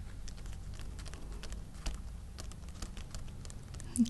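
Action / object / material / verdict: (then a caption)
tap / thin paper sheet lying on an open hardcover book / paper / none. Fingertips and short nails of both hands tap repeatedly on a flat, thin facsimile Western Union telegram lying on the open page of a hardcover book. The result is a soft, steady patter of quick, dry paper taps with almost no ring. One slightly louder tap comes near the end.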